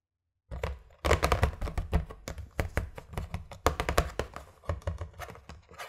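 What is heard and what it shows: Fingertips and medium-length nails rub and scratch the printed lid of a closed, flat red cardboard Skittles gift box filled with candy packets, then the box is lifted at the end. A quick, uneven run of dry taps, scratches and low, dull thumps with almost no ring starts after a short silence and keeps going to the end.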